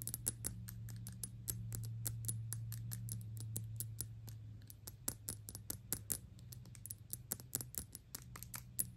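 A filled Gucci Intense Oud perfume bottle of thick, dark glass is held upright while long pink nails fast-tap its glass face. The result is a quick, uneven stream of sharp, bright clicks with almost no ring, over a steady low hum.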